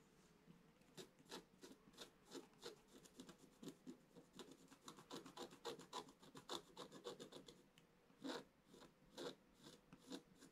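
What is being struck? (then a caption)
Wax-coated scratch-art paper scraped with a wooden stylus. A wooden stylus scratches fine lines across the black coating of a scratch-art page lying in a flat book. Quick, bright, raspy strokes follow one another in an uneven rhythm, some harder and louder than others, over a faint steady hum.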